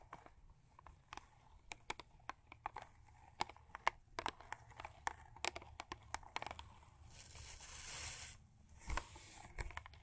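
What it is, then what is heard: Cardboard toothpaste box. Long acrylic nails scratch and tap a Crest toothpaste box of thin printed cardboard lying flat on a fur rug. Many quiet, sharp clicks come in an irregular patter, each dying away instantly with a papery tone near 930 Hz. A brighter, hissing scratch swells near the end, with a few more taps after it.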